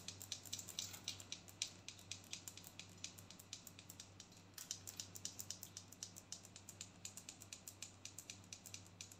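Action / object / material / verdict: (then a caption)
tap / plastic body scrub tub / plastic / none. Long gold-painted nails tap and scratch on a large white plastic body scrub tub with a yellow label, filled with scrub. It makes a steady run of quick, bright clicks and short scratchy strokes that die away at once, over a faint low hum.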